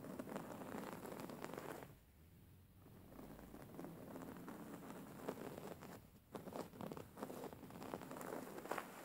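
Long fingernails scratch a soft, stuffed white cotton pillow with raised embroidery, the hands partly moving close to the camera. Dense, dry scratching and rustling patter fills the clip, easing into a quieter, softer stretch around the two-to-three-second mark and briefly dipping again near six seconds before the brisk scratching resumes.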